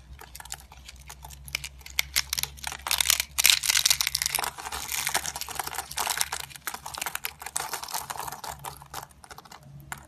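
Fingers bend, squeeze and snap thin, solid, dry yellow soap sheets into small flakes over a tray. Dense, irregular bright crunching and sharp cracking snaps come in quick bursts, with a faint low hum beneath.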